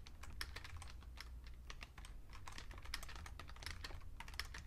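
Two hands type with their fingertips on a vintage beige plastic full-size Fujitsu Siemens computer keyboard, producing a rapid, uneven stream of short, bright plastic key clicks. Each click stops almost instantly, over a steady low rumble.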